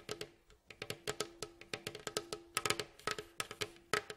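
Fingertips and nails tap and scratch along the ribs and staves of a hollow, striped, varnished wooden mandolin bowl back. About 26 quick, dry knocks and clicks come in an uneven rhythm. Each carries a short hollow tone near 418 Hz with a bright, scratchy edge and dies away almost at once.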